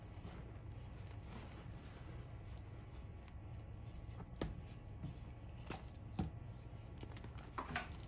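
A small, solid, dry piece of reformed gym chalk is held in cupped hands and crushed and rubbed between the fingers and palms over a heap of chalk powder, crumbling as it is squeezed. A quiet, low, continuous gritty rustle runs throughout, broken by a few short, sharp crunches that stand out briefly.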